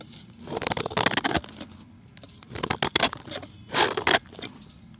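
A steel utility knife blade scrapes and shaves a solid, round, pale chalk disc held in the hand, sending off powder and flakes. Three bursts of dry, gritty scraping come through, bright and crackly with quick rasping strokes, separated by quiet pauses.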